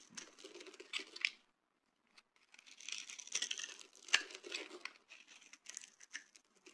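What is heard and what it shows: A knife with a dark blade and orange handle scrapes and shaves a hand-sized solid yellow bar of dry soap held in the other hand, producing crumbly shavings. Bright, dry crackling and crunching scrapes come in quick bursts, with a short quiet pause after the first burst. Each scrape stops sharply with no ring.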